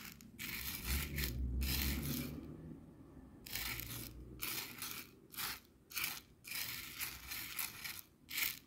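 Clear coarse bath salt grains on a white plastic cutting board are stirred and scratched with a thin wooden skewer, making bright, gritty bursts of scraping and crunching. The strokes come in quick, uneven runs separated by short pauses, over a soft low rumble.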